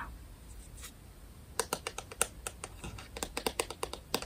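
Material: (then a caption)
Plastic. Long painted nails tap and scratch on a small round white-and-grey plastic IKEA smart light remote held in the hands. After a quiet, faintly scratchy opening, a string of sharp, bright plastic clicks begins at about 1.6 seconds and continues irregularly to the end.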